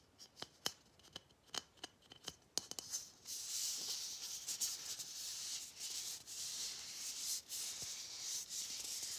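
Fingernails tap and scratch a matte gold hollow plastic Christmas bauble with a gold cap and string. Sharp, bright clicks come first, then a continuous high, hissy rubbing and scratching fills the rest.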